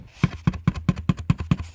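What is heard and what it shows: Someone taps seven times in a steady rhythm on the cardboard wall of a box fort, right where a hole will be cut for a tunnel to a new room. Each tap is a short, dull, low thud that stops almost at once, with a faint papery rustle on top.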